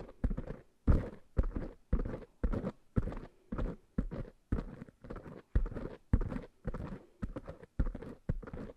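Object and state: Foam microphone windscreens being rubbed and scratched.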